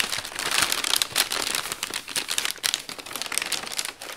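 Fingertips and a palm fold the edges of layered brown kraft packing paper around a frame and smooth it down. The result is a continuous, bright, dry crinkling and crackling with quick overlapping rustles, almost no low end, and no lingering ring.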